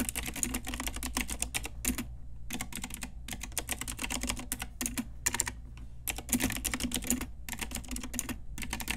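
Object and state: Plastic mechanical keyboard.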